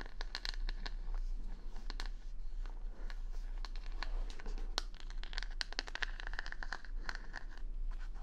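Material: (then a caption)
Plastic. Long nails scratch the plastic rhinestone stickers covering the back of a wooden hair brush held in the hand, and the brush is turned at the end. The sound is a steady run of quick, dry, crinkly scratches and clicks with bright, high ticks, over a constant low hum.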